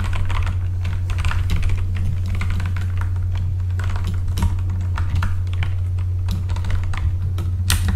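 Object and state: Mechanical keyboard with plastic keycaps.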